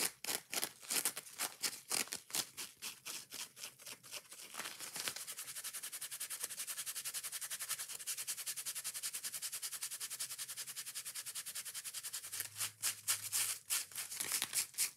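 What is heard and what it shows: Long nails rub and scratch fast along the yellow foam side and edges of a porous kitchen sponge with a green scouring pad. Quick, bright, hissy strokes start out distinct, blur into a dense, steady scratching run in the middle, then return to separate strokes at the end. The sound is soft overall and sits almost entirely in the high frequencies.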